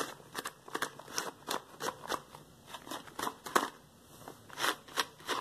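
Yellow latex household gloves worn on both hands are rubbed and interlocked together over a wooden floor, producing irregular squeaky, crinkling bursts of rubber friction with bright, short-lived texture between quiet pauses. The gloved hands end resting spread on the floor.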